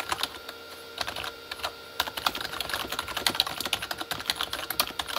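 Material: Plastic.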